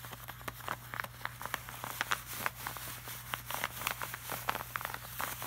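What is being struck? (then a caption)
Laminated paper poster. Fingertips and short nails tap, rub and scratch across a flat, glossy laminated art print. Quick, irregular, dry clicks with bright edges die away almost instantly, set over a soft scratchy rustle and a steady low hum.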